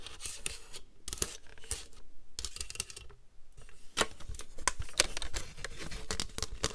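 Long green nails tap and scratch the top and the hollow, ribbed underside of a flat, rectangular white plastic paper trimmer with a grid and an orange slider. Sharp, bright clicky taps mix with dry, raspy scratching in an irregular rhythm, broken by brief quiet pauses. Each tap is short and dead, with no ring.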